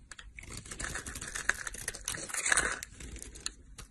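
A snap-off utility knife blade scrapes and cuts crumbly flakes off the edge of a solid rectangular green stamped olive soap bar held in hand. The result is a dense run of crisp, dry scratching and crackling clicks, bright and close with little low end, peaking in a few sharper cuts.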